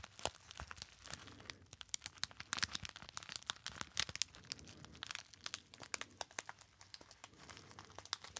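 A small, hollow and apparently empty gold metallized foil pouch with a label is crinkled by fingertips. It gives a steady run of sharp, bright crackles and crunches with very little low end, each snap cutting off almost instantly.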